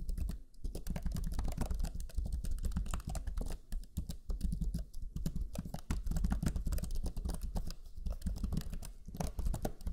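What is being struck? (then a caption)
Plastic laptop keyboard. Rapid, continuous typing on the plastic keyboard of a Lenovo Legion 5 laptop, a black chiclet keyboard with low-profile plastic keys pressed with the fingertips of both hands. Quick, dry key-press taps crowd together with barely any ring, over a low, dull thump that carries most of the sound.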